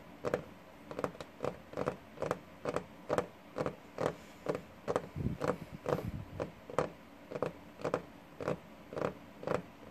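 Fingertips and short nails on both hands tap and scratch the worn, paint-flecked varnished top of a large solid wooden desk. The result is a steady series of short, dry knocks with a woody tone around 500 Hz, each dying away almost at once. Soft scratchy textures fill the gaps between taps.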